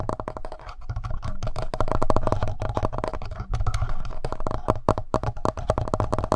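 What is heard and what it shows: Fingertips and nails scratch and tap the front panel and upper body of a handheld black plastic Tascam audio recorder. The result is a dense run of close, dry clicks and scrapes with a deep, boomy low end, each sound dying away almost instantly.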